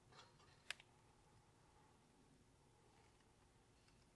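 A thin cut strip of woven window screen mesh, possibly fiberglass, is held in both hands above a wooden table while fingertips rub, bend and crumple it. Faint, bright rustling is punctuated by two sharp, high crackling clicks close together, then fades to a near-silent hiss.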